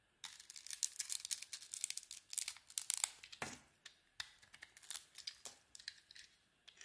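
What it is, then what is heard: Bar soap being shaved. A solid pink-brown glittery bar of soap with a cream core is shaved with a metal blade. After a brief silence, a rapid run of crisp, dry scraping and crackling strokes follows, bright and high with almost no low end. Each stroke cuts off sharply with no ring.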